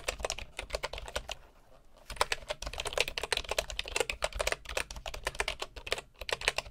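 A bamboo wooden keyboard with a hollow body and wooden keys is typed on with the fingertips of both hands. It makes quick, dry, bright clicks with a soft low knock beneath them. The typing breaks into a short lull before resuming in steady bursts.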